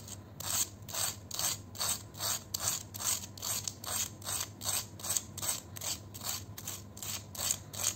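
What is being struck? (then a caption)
Fried potato chip scraped by a metal peeler. A red-handled metal vegetable peeler scrapes and shaves along the edge of a single thin, curved, dry fried potato chip held between fingertips over a bowl of chips. The result is a steady series of short, bright, rasping crunchy scrapes, about two or three per second. A faint low hum sits underneath.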